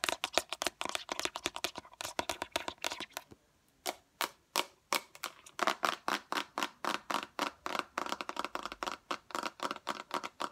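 Long acrylic nails tap quickly on a small transparent orange plastic bottle with liquid inside and a green-yellow cap. About 53 short, sharp clicks land in rapid bursts, with a brief pause near the 3.5-second mark. Each tap is bright and hollow, centered around 645 Hz, and dies away almost instantly.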